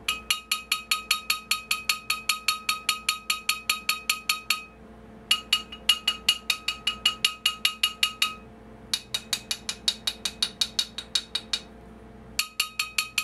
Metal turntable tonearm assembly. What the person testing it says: as you can hear this thing rings like a bell